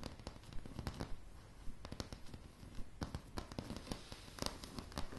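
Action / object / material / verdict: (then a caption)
tap / wooden plank floor / wood / none. Long polished fingernails on both hands tap a solid, light wooden plank floor. The result is an irregular run of quick, sharp clicks and knocks over a soft, low, woody thud, each tap dying away almost instantly.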